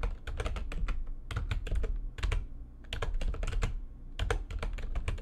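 Fingertips with long nails type fast on the keys of a full-size, low-profile, backlit plastic computer keyboard resting on a desk. Rapid bursts of crisp, bright clicks ride over a dull low thump, with short pauses between runs of keystrokes. Each tap dies away almost at once.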